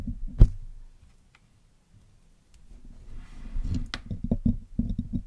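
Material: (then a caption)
Metal mesh. A thin metal needle tool picks and scratches across the black woven metal mesh grille of a hollow Blue Yeti microphone head, held in fingers with pale painted nails. A sharp tap opens the clip, followed by a near-silent pause, then a dull, low, boomy rustle of scraping with a run of short knocks and clicks. In all, about ten quick, muffled hits ring out with almost no decay.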